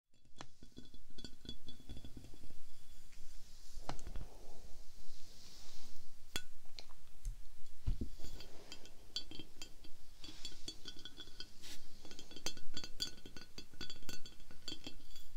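A glass bath oil decanter is tapped and scratched with no talking, giving a steady run of sharp glassy clinks and taps mixed with softer scratching sounds over a low background rumble.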